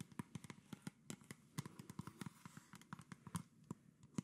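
Fingertips and nails tap and scratch the body and red label of a hollow PET plastic Coca-Cola soda bottle with its cap on, held up near the face. A rapid series of short, dry, hollow ticks with a low plastic thump, each dying away almost at once, runs over a faint scratchy rustle.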